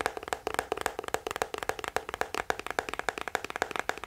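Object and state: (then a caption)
Plastic scalp massager brush. Fingertips and nails tap quickly on the hollow hard shell back of a small teal plastic scalp massager held close to the mic. About two dozen short, dry, hollow clicks come in an uneven rapid patter, each with a mid-pitched knock and a bright tick that dies away almost instantly.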